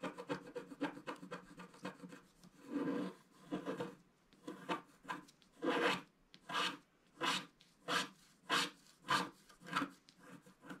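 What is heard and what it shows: A wooden stick scratches the coating of a flat black wax-coated scratch art card at the bottom left. Quick, dense scraping strokes give way to slower, separate rasping swipes, each a bright, hissy scrape with a low body.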